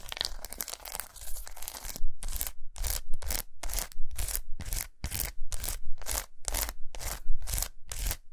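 Long nails scratch and tap a large, unwrapped solid milk chocolate bar with raised squares resting on a towel. Dense, continuous scratching comes first, then settles into a steady rhythm of short, bright, rasping strokes with brief gaps between them. A soft low thump sits under each stroke.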